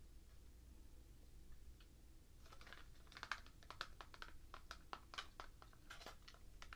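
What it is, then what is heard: Cardboard nail polish box. Long painted nails tap on a small, hollow, white printed cardboard OPI nail polish box held in the hand. After a faint, near-quiet start over a low background rumble, a quick run of sharp, dry clicking taps begins. Each tap is bright and papery and dies away almost at once.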